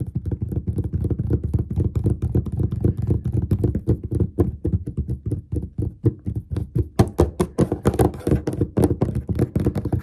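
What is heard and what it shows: Fingertips and short nails of both hands tap quickly and repeatedly on a large, flat, dark glossy wooden desk top, a solid surface possibly with a laminate finish. The steady, uneven stream of taps gives dull, low thuds that die away at once, with sharper, brighter nail clicks coming through more often in the later seconds.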